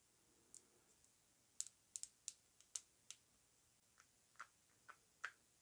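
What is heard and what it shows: Long nails tap and scratch the glass body of a slim Aerin glass rollerball travel perfume bottle with a metal cap and floral print, held in the hands. A scattered series of short, sharp, bright clicks rings out over near silence, each dying away almost instantly.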